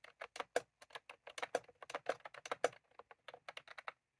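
Fingertips of both hands type continuously on a full-size plastic computer keyboard with round cream typewriter-style keycaps resting on a desk. It makes a quick, uneven run of about two dozen short, dry clicks, centered in the midrange around 500 Hz with bright edges. Each click dies away almost instantly.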